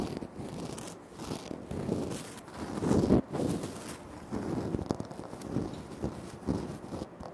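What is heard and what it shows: Short fingernails scratch and fingertips tap on a flat, solid, speckled granite floor tile. The sound is a dense, dull rasping with soft, low-mid thumps and very little high-end brightness. It swells and fades in uneven bursts, loudest around the middle.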